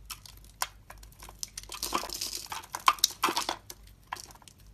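A metal utility blade carves and scrapes shavings from a solid orange star-shaped bar of soap held in the hand. It makes a steady run of bright, crisp scraping and crinkly shaving sounds, with sharp little clicks where the blade bites in. The sound is dry and close, with almost no low end and no lingering ring.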